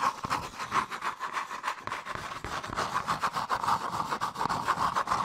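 Long nails and fingertips scratch and rub a hollow, empty, hand-sized cone of brown molded paper pulp or cardboard. Fast, somewhat uneven scratchy strokes repeat about three times a second, each a dry papery rasp with a hollow resonance near 1 kHz.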